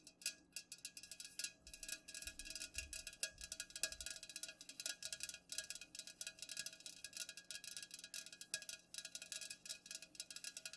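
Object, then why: Full aluminum soda can. Long nails tap quickly on both sides of an unopened, full, upright Pepsi aluminum can. The result is a dense, steady stream of quiet, bright, clicky taps, each with a brief metallic ping around 1.6 kHz that dies away almost at once.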